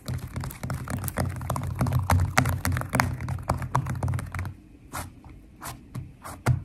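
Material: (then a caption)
Slime. Long nails tap and scratch across a flat purple glitter slime with foam beads, making dense, quick crackling clicks over a low steady hum. After about four and a half seconds the crackle stops, leaving a few separate sharp taps.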